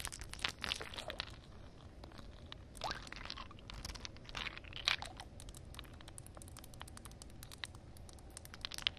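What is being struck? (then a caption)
Ice cubes on wet concrete. Long nails tap and scratch a cluster of solid ice cubes sitting in a puddle on concrete. Quiet, bright clicks and crisp, crunchy scraping come in quick, irregular bursts, with a few sharper taps standing out. Each sound stops almost instantly, with no ring.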